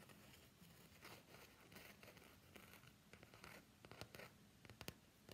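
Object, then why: Soft plastic phone case. Fingernails scratch and rub an empty, translucent soft plastic phone case with a floral print as it is held and bent in the hands. The result is a quiet, steady, dry scratching and rustling texture, with a few sharper clicks toward the end.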